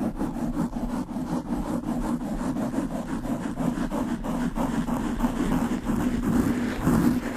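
Long pink nails and fingertips quickly scratch and rub a black porous foam windscreen on a large microphone. The result is a steady, dense, muffled scratching and rustling with a warm low-mid body and a slight swell near the end.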